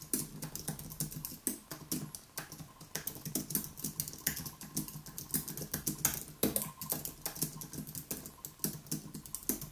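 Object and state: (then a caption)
Low-profile keyboard typing. Both hands type rapidly with their fingertips on a white Apple Magic Keyboard, with plastic keys on an aluminium body, resting on a wooden desk. A dense stream of short, bright, crisp key clicks and taps plays at uneven speed, each dying away almost instantly.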